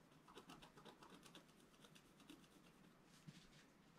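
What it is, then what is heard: Scratch art paper being scratched. A wooden stylus scratches fine lines into a flat, black-coated scratch art paper sheet, about A4 in size, lying on a table. Quiet, dry scratching strokes repeat in a quick, uneven rhythm, each carrying a bright, hissy edge over a low, soft rub. One slightly sharper scrape stands out near the end.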